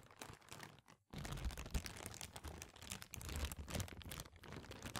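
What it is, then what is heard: Thin plastic bag being crumpled. A small, thin, translucent white plastic bag or sheet, empty, is held in front of the microphone and crumpled and crinkled with the fingers of both hands. Dense, irregular crackling and rustling runs throughout, with a low thumpy handling layer under bright crinkles and a brief silent pause around the one-second mark.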